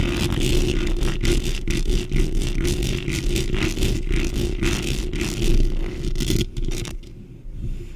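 Long nails and fingertips, with rings on the fingers, scratch fast across a black metal mesh microphone grille. The result is a dense, continuous scraping and crackling with a heavy low rumble and brief bright edges. The scratching turns sparser and quieter over the last second.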